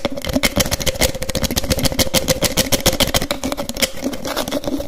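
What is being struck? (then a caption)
Small plastic bottle with snap cap. Fingers quickly open, close and click the teal cap of a small white frosted plastic bottle, making a fast, uneven stream of sharp, bright plastic clicks and snaps. A steady mid-pitched tone hums faintly underneath throughout.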